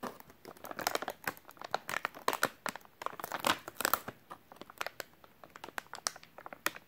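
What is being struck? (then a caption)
Soft plastic wet wipes pack. A full, white soft plastic wet wipes package is crinkled and squeezed with the fingers of both hands. Dense, crackly crinkling comes in quick, irregular bursts of sharp snaps that die away almost instantly. The sound is bright and papery, with almost no low end.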